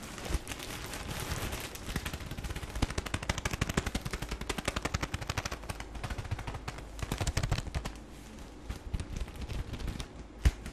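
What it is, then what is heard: Plastic-wrapped tissue pack. Fingertips squeeze and crinkle the plastic film wrapper of a tissue paper pack held against the chest, making a dense stream of rapid, sharp crackles with a heavy low thump. The crackling is loudest and most clustered through the middle, then quiets near the end as the pack is opened slightly, with one sharp pop just before it stops.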